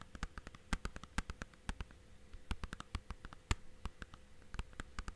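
Fingertips and nails tap and scratch the surface and spine of a hollow, clear plastic DVD/game case, first held at an angle and then laid flat. About thirty quick, dry clicks land in an irregular pattern, each dying out almost instantly. Faint scratching fills the gaps over a steady low hum.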